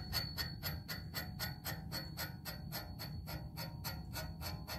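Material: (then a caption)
Metal. Fingertips and nails tap rapidly on the slim, hollow, coated black metal tube of a music stand pole, making a quick series of bright, bell-like pings. Each tap carries a sustained high ringing tone over a steady low rumble.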